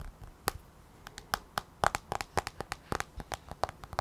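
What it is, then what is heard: Fingernails tapping on a tablet glass screen. Long nails tap and scratch on the black glass touchscreen of an iPad held at an angle. About nineteen sharp, dry clicks land in an irregular rhythm, each with a brief bright tick and a short glassy tone near 800 Hz. Faint scratching sits between the taps over a quiet background.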